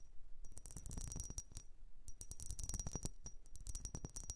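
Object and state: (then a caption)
Vase being tapped. A blue vase is tapped and scratched by hand in a quick, uneven run of light hits. Each tap gives a short, bright clink much like a dropped coin, over a faint low thud and a thin high ring, with scratchy rasps between the taps.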